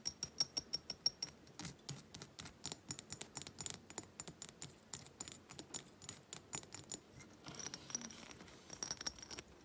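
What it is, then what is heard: Glass reed diffuser bottle. Long nails tap and scratch the beaded surface of a small hobnail-textured glass reed diffuser bottle with wooden reeds, held up in the air. Rapid, crisp, bright clicks come in quick runs with almost no ring. A softer scratching texture follows near the end.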